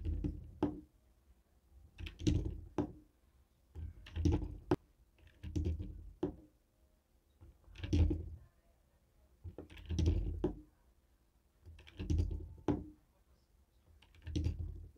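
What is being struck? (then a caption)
Plastic TV remote control with rubber buttons. A jade stone face roller taps and rolls over a hollow white and black plastic TV remote with rubber buttons. Short bursts of dull, low rolling rumble alternate with sharp plastic clicks, separated by quiet pauses. The sound is muffled, with almost no ring after each click.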